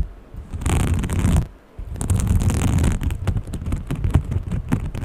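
Long painted fingernails quickly scratch and tap a small green textured fabric pouch. Two dense bursts of scratchy, rustling friction with a bright hiss on top and a soft low thud underneath come first. They are followed by a rapid run of short, dull taps.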